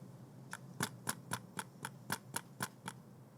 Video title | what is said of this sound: Viltrox 135 1 8 Recensione | if you shake it you can hear a noise of the optical unit moving